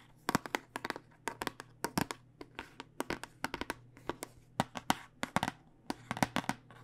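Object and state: Plastic dice tube tapped with nails.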